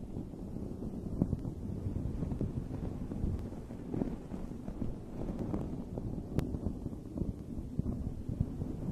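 Long red nails scratch and rub the surface of a dome-shaped, fuzzy fabric microphone cover. The result is a steady, muffled, low rumbling rustle with scattered soft scratchy crackles. No bright highs are heard.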